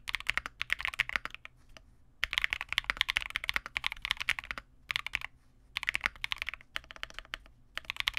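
A Vega65 custom 65% mechanical keyboard with re-lubed Cobalt switches, white plastic keycaps and a dark case is typed on continuously with the fingertips of both hands. Quick, bright, clacky keystrokes with almost no low end come in rapid bursts, separated by several short pauses.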